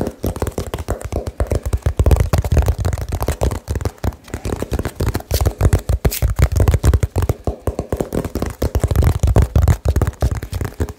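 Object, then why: Small cardboard box. A small hollow cardboard box held over the mic is tapped very quickly with the fingertips. The result is a dense, uneven stream of short, dull, boomy thuds, heavy in the low end with almost no bright content.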